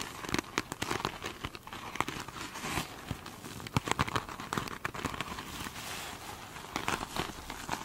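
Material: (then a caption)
Foam. Long nails scratch the surface of a foam sponge covered in glitter mesh, first up close and then held in the hand. Dense, crinkly scratching and crackling come in quick bursts of bright, sharp textures with brief pauses between strokes.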